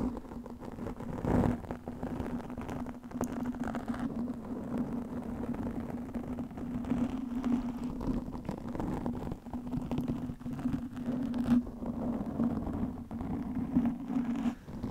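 Long nails scratch and grip a black foam windscreen on a microphone, producing a continuous rasping, muffled foam scratching. A steady low hum runs underneath, with occasional louder scrapes throughout and almost no bright high end.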